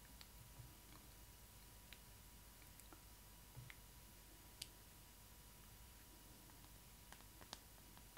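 Long acrylic nails lightly tap the vinyl face and glossy eyes of a hollow vinyl Disney Ily 4ever Stitch doll head. Six sharp, bright little clicks stand apart from a quiet bed of low hum and a faint steady tone, each dying away almost instantly.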